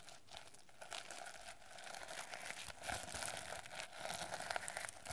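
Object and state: Plastic sequin notebook cover.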